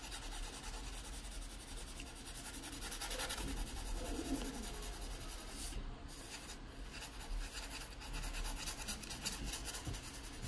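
A yellow wooden graphite pencil tip scratches and shades across the page of an open paper sketchbook lying flat. A steady, quiet scratchy rubbing with bright hiss runs over a low background rumble, swelling slightly in strokes without clear breaks.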